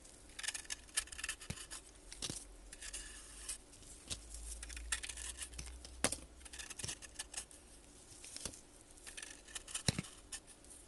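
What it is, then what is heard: Bath bomb scraped with a blade. A metal blade scrapes and cuts crumbly chunks off a solid blue, powdery bath bomb ball held in a gloved hand. Dry, gritty scraping and crumbling is broken by sharp, bright clicks and snaps over a faint low hum.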